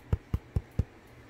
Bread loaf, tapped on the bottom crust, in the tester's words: il est bien cuit vous l'entendez quand ça sonne creux